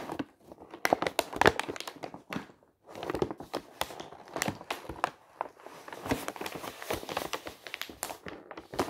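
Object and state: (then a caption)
Tissue paper sheet crinkling. A large, thin sheet of pink tissue paper lying over a surface is rubbed and pressed flat by fingertips. It makes dense, quiet crinkling and crackling with many short, sharp bursts and a brief pause near the three-second mark.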